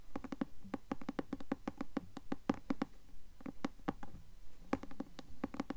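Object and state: Cloth-bound hardcover book.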